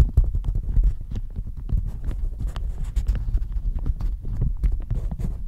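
A thin, hollow floral plastic shower cap stretched over a microphone is scratched and crinkled with long manicured nails. The result is a dense, uneven stream of quick, dull thumps and rustles that sit almost entirely in the deep low end, with short bright ticks flickering on top.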